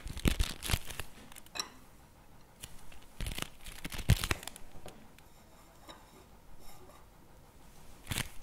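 Fingertips and nails scratch and tap the face and edges of a flat, printed cardboard NOVI chocolate bar box held at an angle. Irregular bursts of dry, papery scraping and crinkly taps stand out sharply against near silence, with bright rasps and short, dull knocks that fade almost instantly.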